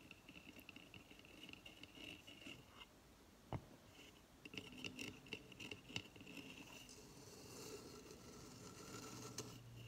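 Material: Coconut shell.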